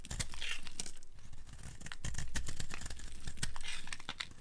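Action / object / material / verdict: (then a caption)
scrape / bar of soap / soap / none. A blade carves along the edge of a dry, solid yellow soap bar, shaving off dry flakes. The result is a dense, steady stream of quick scraping, crinkly crackles with bright, papery edges and a low, muffled rumble underneath.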